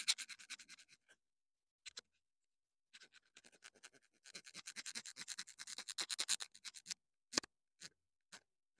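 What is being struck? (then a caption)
Small plastic clip-on microphone. Long dark nails scratch and tap a small black plastic clip-on wireless mini microphone with a green LED and hollow housing, held in the hand. About 28 short, dry, bright scratches come in quick runs with brief pauses between them. A few sharper isolated taps follow near the end.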